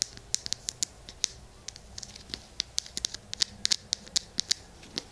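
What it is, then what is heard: Plastic lotion bottle. Fingertips and nails scratch and tap along a small hollow plastic lotion bottle with a green cap, held close to a binaural mic. It makes a rapid, irregular run of dry, bright clicks and scratches with almost no low end, each tick dying away at once.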